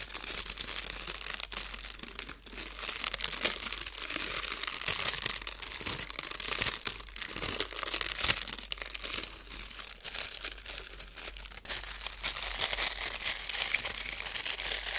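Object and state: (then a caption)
Metallic foil sheet being crumpled. A thin, crinkly, hand-sized blue metallic foil sheet is held in both hands while fingertips with painted nails fold, squeeze and crumple it. Dense, bright crinkling and crackling runs continuously for the full clip, with little low end and brief louder crunches scattered throughout.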